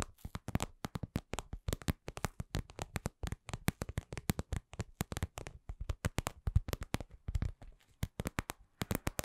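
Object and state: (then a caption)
Vinyl cosmetic pouch, soft hollow taps. A lip-shaped, glossy red patent vinyl cosmetic pouch, soft and hollow, is tapped with long glittery nails. Rapid, dense, dull taps and clicks run throughout at slow and medium pace, each one short with a soft, low thud and a faint bright tick.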